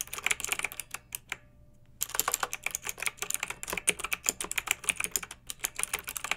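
Long-nailed fingertips type continuously on a pink backlit plastic mechanical keyboard with round keycaps, producing rapid, bright, crisp clicks with very little low end. The typing pauses briefly near the start, leaving only a faint low hum, then resumes in a steady, dense stream of sharp keystrokes.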